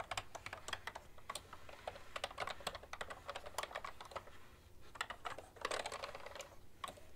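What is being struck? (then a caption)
Plastic computer keyboard. Continuous two-handed typing on a beige/white plastic ergonomic keyboard with a hollow plastic body, fingertips and long nails tapping the keycaps. Brisk, dry clicks and clacks come in quick irregular runs, with short bursts and brief pauses, over a faint low hum.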